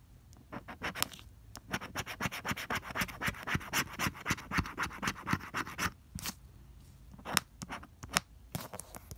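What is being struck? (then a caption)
Coated cardstock scratch-off ticket. A pink plastic scraper rubs the latex scratch coating off a flat coated cardstock lottery ticket (no. 045 throughout) in quick, repeated strokes. Each stroke makes a short, bright, dry scratching rasp. The strokes run in a steady rhythm, pause briefly near the end, then resume with a few scattered scrapes.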